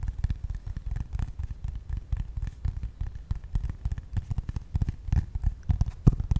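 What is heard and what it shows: A flat brown corrugated cardboard piece with rounded corners is held in the hands and tapped quickly with medium-length pink-painted fingernails and fingertips. The result is a dense stream of short, dull, low thuds with faint bright clicky edges and almost no ring.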